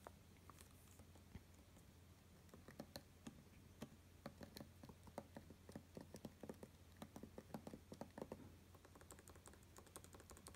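Both hands type with their fingertips on the low-profile plastic keys of an open space-grey aluminum MacBook Pro with Touch Bar, resting on a grey fabric surface. A steady run of light, short, dry key taps clicks over a constant low hum, growing busier and brighter toward the end.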